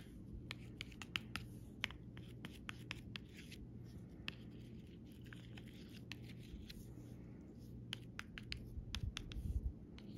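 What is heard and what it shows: A metal pen tip traces and scratches along the outlines of raised, glossy plastic butterfly stickers on a clear plastic backing, with the sheet lying flat on fabric. The result is a quiet, dry scratching texture broken by a rapid series of sharp, bright clicks and ticks over a low, steady background hum.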